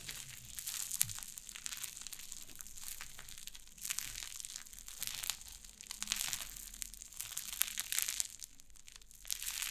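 White cloud slime on a wooden table is pressed flat and pulled apart with fingertips and long nails. It gives soft, bright crackling and crinkling with dense tiny pops. Louder bursts come in waves over a quiet low background.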